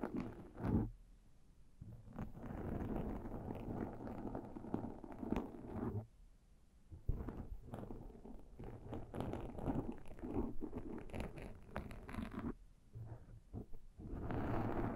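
Metal claw ring tips and fingernails scratch along the top of a black foam windscreen on a Zoom microphone. The result is dense, muffled, low-heavy rustling in steady bursts, with brief quieter gaps and a final swell at the end.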